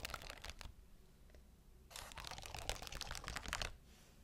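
Long nails scratch and tap across a sheet of shiny rhinestones, making a crunchy, crinkly crackle of quick, dry clicks. A short burst is followed by a quiet pause, then a longer, denser stretch of scratching that stops abruptly.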